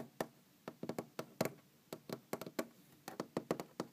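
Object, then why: Large wooden tabletop. Long green-painted fingernails of both hands tap on a large, solid wooden tabletop in an uneven, quiet rhythm. Seventeen short, dry knocks centred around 640 Hz each die away almost at once. Some taps cluster in quick runs and others stand alone, each with a faint bright click.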